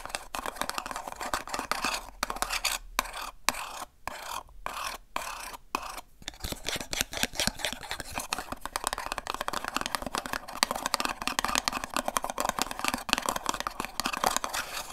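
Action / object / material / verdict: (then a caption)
scrape / small paperboard box / cardboard / none. Long nails tap and scratch the flaps and sides of a small, hollow, empty blue and pink paperboard gift box held in both hands. Rapid, dry, crisp ticks and scrapes with almost no low end die out instantly. A stretch of quick taps separated by brief pauses gives way to dense, continuous scratching.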